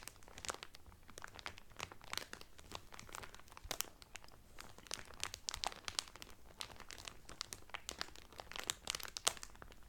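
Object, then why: Towel wrapped in thin cellophane. A folded blue terry Carnival towel sealed in thin clear cellophane wrap lies flat on a table while fingertips with medium painted nails press and crinkle the loose cellophane. Dense, bright crackles and crinkles snap in quick bursts throughout, with a faint low rumble underneath.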